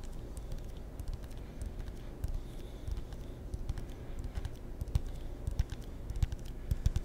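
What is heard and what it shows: A ping pong paddle with a wooden blade and rubber faces is tapped with the fingertips in quick, uneven bursts. Each tap gives a soft, dull, low thump with a faint bright click and no ring.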